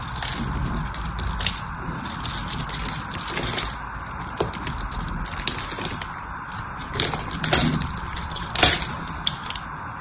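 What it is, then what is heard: Bar of soap being carved. A solid blue bar of soap held in the hand is scratched and carved into a grid with a metal blade. Bright, dry scraping runs throughout, broken by sharp crackling clicks as small cubes of soap pop off.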